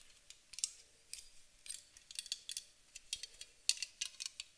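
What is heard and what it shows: Long acrylic nails tap a white aluminum aerosol spray can, first on its bottom and then along its side. The result is quiet, irregular bursts of sharp, bright clicks with a thin metallic tick and almost no low end, each dying away instantly.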